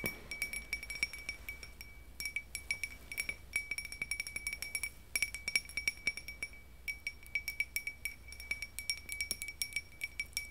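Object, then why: Small glass votive cup tapped with fingernails. A small, empty, hollow, clear iridescent glass votive candle holder, held in the hand, is tapped and clinked with long acrylic nails. Dozens of quick, bright glassy clinks ring near 2.3 kHz and fade almost at once, over a faint low hum.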